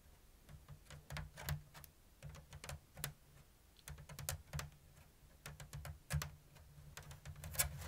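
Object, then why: Woven bamboo lattice basket. Long blue nails tap and scratch the thin bamboo strips of a round, hollow woven basket with an open diamond weave. Quiet, dry clicks and short scrapes come in an irregular, unhurried rhythm, each with a bright edge that dies away almost at once, over a steady low hum.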